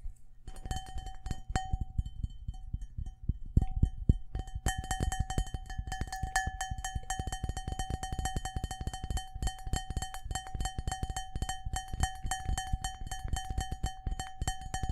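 Fingertips and nails tap fast on the outer wall of a large, empty, hollow cut-glass crystal bowl held close to the mic. The first few seconds bring scattered taps, then a dense, continuous stream of quick, dry knocks with a deep low thump. A faint steady glassy ring sits near 750 Hz, with brighter overtones above it.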